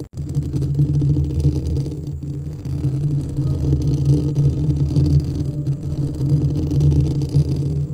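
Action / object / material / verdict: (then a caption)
scrape / metal mesh microphone grille / metal mesh / none. Fingertips and nails of both hands scratch and rub the hollow white metal mesh head of a white studio microphone. The result is a continuous, dense, low rumbling scrape with a muffled, boomy texture and almost no high end, swelling and dipping slightly throughout.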